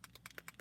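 A bottle of Frost White shimmer paint is shaken, and something loose rattles inside it. It makes a quick, evenly spaced series of short, bright, clicking rattles. The sound is quiet and crisp, with almost no low end.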